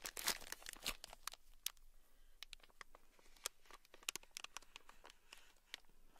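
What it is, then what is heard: Plastic bag packed with small beads. A small, sealed, clear plastic bag, brick-sized and packed full with tiny gold beads, is squeezed with fingertips, then scratched and tapped with a thin black stick. Dense crinkling and bead rustle come first, giving way to quiet, scattered, sharp clicks and taps. The sound is soft and bright, with each tap dying away almost instantly.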